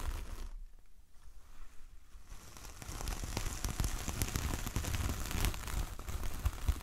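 Long nails of both hands scratch and tap the coarse fibres of a large, flat coconut coir door mat with a star print. A quiet, rough scratching at first becomes louder and denser after about three seconds, with crackly, rustling scrapes and quick taps dotted throughout.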